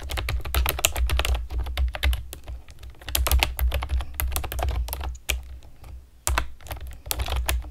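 Long nails type on a pastel plastic keyboard with round keycaps, producing rapid, irregular clicky taps with bright, sharp clacks over a steady low hum. The typing thins into brief lulls around the middle and again near six seconds, then resumes in quick bursts.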